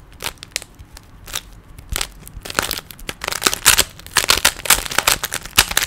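Fingers twist the layers of a small, solid plastic 3x3 Rubik's cube, making a run of dry, bright clicks and rattling snaps. The clicks start sparse and quiet, then grow denser and louder in the second half as the turning speeds up.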